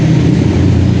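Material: Nothing is struck.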